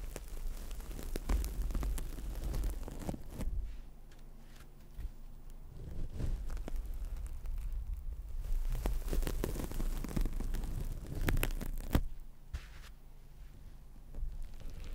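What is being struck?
Synthetic foam sponge.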